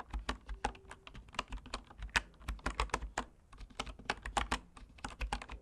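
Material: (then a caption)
Bamboo. Fingertips type steadily on the wooden keys of a bamboo wood computer keyboard. Short, dry clicks and taps come in a quick, uneven run with a low thump under each press and bright tops.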